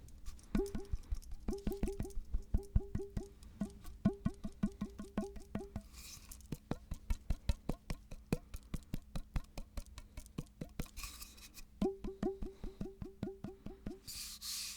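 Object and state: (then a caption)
Hollow wooden tube. A hollow wooden tube, first mistaken for a rain stick, is tapped in quick bursts of dozens of short, dry knocks. Each knock gives a brief hollow, woody tone that dies away at once. A few soft hissy rustles are heard between some runs.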